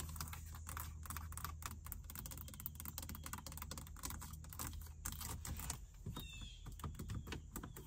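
Fingertips and long nails tap and scratch rapidly across the display screen and surrounding plastic faceplate of a car dashboard stereo unit. The sound is a dense run of short, dry clicks and light scrapes that die away almost instantly. A steady low hum sits underneath throughout.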